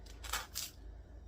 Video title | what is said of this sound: Flash back 60s and 70s Taco Bell Bell Beefer #easymeals | Oh, I can hear how crispy the buns are.